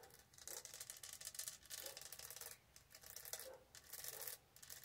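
Fingernails tap and rub over the textured surface of a tall, hollow, studded plastic tumbler, making a quiet, bright, scratchy rasping. The sound comes in repeated bursts of rubbing with a few soft, low taps mixed in.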